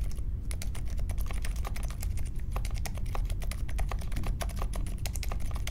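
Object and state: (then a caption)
Mechanical keyboard with plastic keycaps. Steady two-handed fingertip typing on a small 60% Polaris mechanical keyboard with Silent Alpaca linear switches, a grey case and white, mint and pink plastic keycaps, resting on a marble desk. A fast, even run of soft, muted keystroke taps with short bright ticks and no lingering ring sits over a constant low hum.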